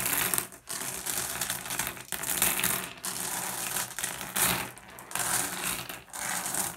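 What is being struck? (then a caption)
Small flat glass gem pebbles raked by fingertips. Fingertips rake and shuffle a pile of small, solid, blue iridescent flat glass gems on a wooden surface. The result is a steady stream of bright, dense clicking and clattering, with short dips between strokes.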